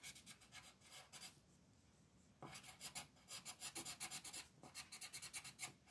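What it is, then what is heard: Pencil coloring on paper sheet. A multicolor wooden pencil scratches rapidly in dense strokes across a flat printed paper coloring sheet on a desk, while the other hand holds the sheet. Bright, raspy bursts of strokes come in quick runs, with a brief quiet pause before the dense scratching resumes.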